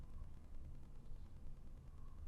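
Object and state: Nothing is struck.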